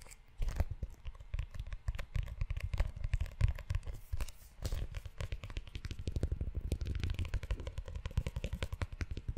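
Fingertips tap and scratch the cover and ridged spine of a book-sized brown leather notebook held up close. Rapid, dull low thumps come in dense runs, mixed with short dry crackling scrapes across the leather, and each sound dies away almost instantly.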